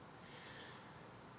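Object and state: Nothing is struck.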